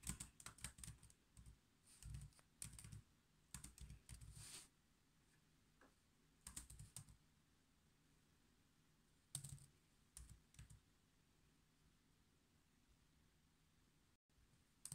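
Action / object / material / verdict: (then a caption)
tap / laptop keyboard with plastic keys / plastic / none. Fingertips type on the black plastic keys of a silver laptop, making quick, soft clicks in short bursts separated by quiet pauses. The taps are dry with almost no ring, over a faint low background hum.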